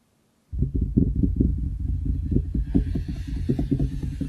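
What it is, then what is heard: Wooden desk. Both hands knock and tap their fingertips on a large, solid wooden desktop close to the microphone, starting after a brief silence. The result is a rapid, uneven run of short, dull, low thuds that die away almost instantly, with a faint hiss entering in the second half.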